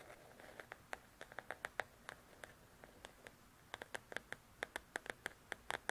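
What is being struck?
Paperback paper coloring book.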